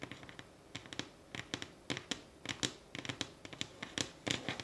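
Long glittery nails rapidly tap and scratch a solid light pine wooden tabletop with visible grain. The result is a quick, irregular series of sharp, bright clicks and scrapes that die away almost instantly, with little low-end weight.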